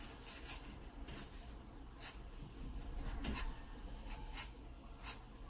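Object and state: Pencil sketching on a paper page.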